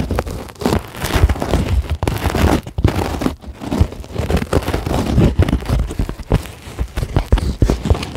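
A flat, solid white polyethylene closed-cell foam sheet is scratched with long glittery acrylic nails, giving a dense run of dry, crackly scratching and rasping. Short bursts overlap continuously with little pause, the energy sitting mostly low with a muffled, thumpy body.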